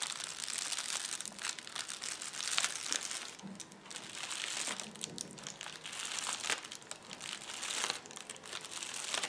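Fingertips and palms press, rub and scratch across a large, flat sheet of clear plastic bubble wrap with air-filled bubbles, lying on a white table. The result is a continuous, dense, bright crinkling and crackling with small sharp snaps and almost no low end, swelling and fading as the hands move over the surface.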